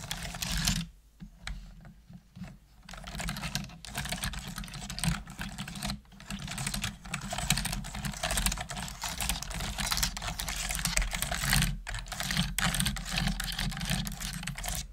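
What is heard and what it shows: Continuous typing with both hands and long nails on a full-size black plastic computer keyboard with hollow plastic keys produces a dense patter of short, bright, clicky taps. The typing eases off briefly near the start, then runs steady over a constant low hum.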